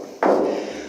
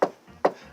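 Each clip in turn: First: A single knock with a drumlike mid-pitched ring that lingers: thin sheet-metal roof, resonant and undamped. Second: Two quick knuckle knocks on a car door give short, dull thuds that die away almost at once.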